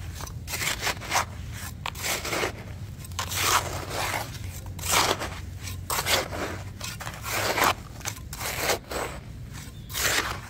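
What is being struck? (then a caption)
Damp sand-cement mixture in a bucket, metal spatula. A hand-held metal spatula digs into a bucket of crumbly, damp sand-cement mix, lifting and scraping through the clumps. Gritty, bright scrapes and crunches come in uneven bursts over a low, steady background rumble.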